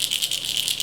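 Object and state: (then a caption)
Crankbait lure with internal rattles. A plastic square bill crankbait lure with internal rattles is shaken, giving a bright, dry clicking rattle concentrated high above 2 kHz. About seven quick rattles run together over less than a second, showing that the lure has rattles inside, unlike a silent version.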